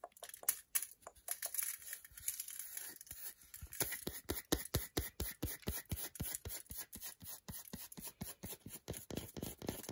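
Long nails scratch hard across the back and edge of a solid milk chocolate bar, shaving off curls. A rapid, uneven run of short, dry, scraping strokes is heard, each with a bright, hissy top and a soft thud, with no ring after each stroke.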